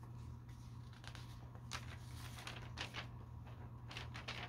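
A thin, glossy paper store catalog lies open on a carpet while a hand rests on the page, then the fingertips lift and turn it. Soft, crinkly paper rustles and brief bright swishes sound over a steady low hum.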